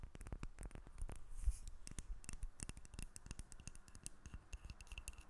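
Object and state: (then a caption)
Bar of soap. Long fingernails tap and scratch across the top and sides of a small, solid white bar of soap held in the hand. The result is a quick, steady stream of short, dry clicks with soft low thumps beneath and faint scratchy brushing between the taps.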